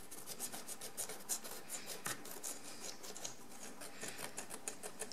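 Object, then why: Encrusted ceramic jar scraped with a wooden stick. A wooden stick scratches the pale crust on a large encrusted ceramic jar lying on its side, in repeated strokes. Each stroke gives a quiet, dry, raspy scrape with bright, hissy grit, falling into an uneven, rubbing rhythm.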